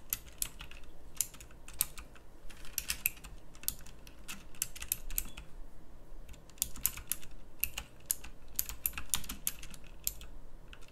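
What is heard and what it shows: Fingertips with long nails type on a pink backlit plastic mechanical keyboard with round plastic keycaps. The result is a steady stream of sharp, bright clicks over a low hum, with very short ring.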